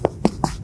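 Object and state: Baked-through bread loaf (hollow).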